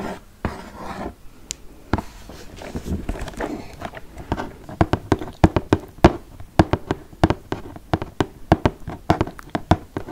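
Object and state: Cardboard game box.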